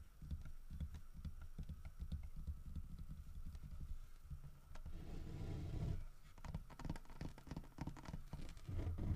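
Fingertips tap repeatedly on the side of the body and head of a large, solid carved wooden bear figurine holding a fish. The result is a steady stream of quick, dull, low knocks with almost no ring. Around the middle, a denser, brushing stretch briefly takes over before the sharper tapping resumes.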